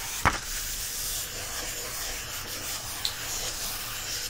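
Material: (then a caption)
Paper. An open softcover paper coloring book lies flat on a fleece surface while fingertips rub across its printed line-art pages, making a steady, bright, papery hiss. Two sharp taps stand out above the rubbing, one near the start and one about three seconds later, each dying away quickly.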